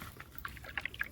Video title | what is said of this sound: หาหน่อไม้ที่สวนนายจ้างคนไทย และกินน้ำมะพร้าว วิธีดูมะพร้าวเป็นกะทิ | ถ้าเฮาเขย่าแล้วมันมีน้ำคล็อกกกๆ